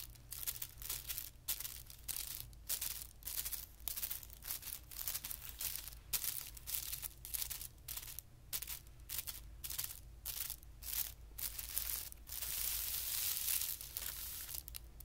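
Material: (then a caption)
Paper. Fingertips and short nails scratch and drag across a flat, thin white tissue paper sheet lying on carpet. The result is a rapid series of bright, crisp rustling bursts over a faint low hum, with a longer continuous scrape near the end.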